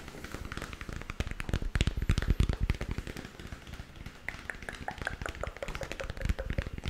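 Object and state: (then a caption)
Hollow plastic moon lamp. A lit, hollow, spherical plastic moon lamp about 15 cm across, with a textured surface, is held in one hand and tapped with the fingertips of the other. The result is a rapid, irregular run of soft, dull, low-heavy taps with almost no ring, some louder clusters, and faint brighter clicks.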